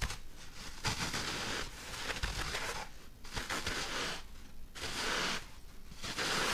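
Fingernails, medium-length and painted dark, scratch and rub a thick rectangular white foam block held in the hands; the block is solid, apparently two-layered, and hand-sized or larger, though the exact type of foam is uncertain. Bursts of dry, bright scraping and crinkling come in uneven waves over a low rumble, with short pauses between strokes.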